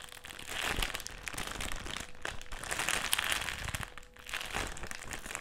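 A black, foil-lined metallised plastic crisp packet is held in the hands and crumpled, twisted and squeezed. It produces a continuous, dense, bright crinkling and crackling centered around 3 kHz, with sharper crunchy peaks throughout. A faint steady tone near 500 Hz sits underneath.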